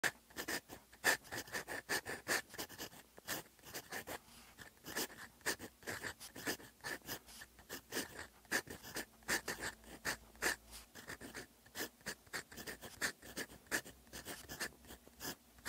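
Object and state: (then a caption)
Pen nib writing on paper. A gold metal fountain pen nib writes Korean characters on a thin, flat paper manuscript sheet with a red grid lying on a desk. The nib gives off a steady run of quick, bright scratches and strokes with a faint tonal squeak near 1.8 kHz. Each stroke dies away almost at once, with little low end.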